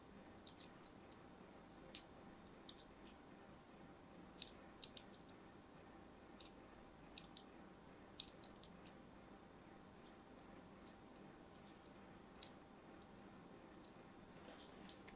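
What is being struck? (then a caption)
Bar of soap scored by a thin blade. A thin blade scores a crosshatch grid into the surface of a hand-held, solid purple-and-white striped soap bar. Sparse, sharp, bright clicks and short scratchy ticks come at irregular intervals. Between them is a very quiet, steady low hiss with a faint hum.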